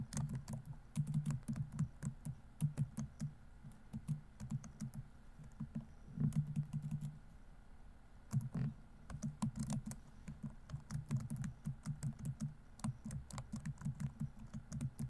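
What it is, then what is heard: Plastic laptop keyboard being typed on. Fingertips type quickly on the plastic keys of a silver laptop keyboard. Rapid bursts of light tapping clicks, each with a soft low thump and a brief bright tick, are broken by a short pause near the middle before the typing resumes.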